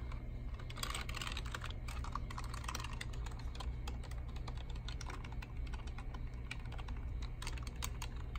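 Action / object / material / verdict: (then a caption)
tap / plastic computer keyboard / plastic / none. Bare fingertips press and tap the hollow keys of a black and silver plastic desktop keyboard on a library desk in a typing motion. The result is a quick, continuous patter of short, dry plastic clicks over a steady low background rumble.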